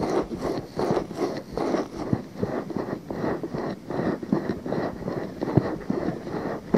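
Fingers grip a pale pink silicone binaural microphone ear while nails scratch its rim, producing close, soft scraping and rubbing bursts that come and go in loose, uneven strokes. Brief sharper clicks poke out among the muffled, mostly low-mid rustle.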